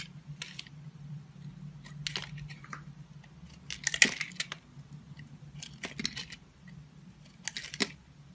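A utility knife blade scrapes and shaves the surface of a solid, hand-held oval bar of purple and pink confetti soap. Short, bright, crisp scraping bursts come in irregular strokes, with the sharpest shave near the middle, over a faint steady low hum.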